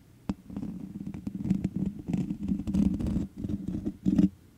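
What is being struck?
Metal mesh microphone grille.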